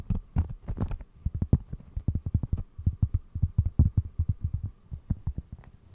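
A round, flat, solid cork trivet about the size of a plate is held close and tapped and scratched with fingertips and short nails. It makes a rapid run of soft, dull, low thuds with very short decay and occasional brighter scratchy ticks. A faint steady hum sits underneath.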